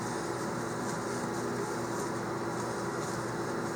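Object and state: Nothing is struck.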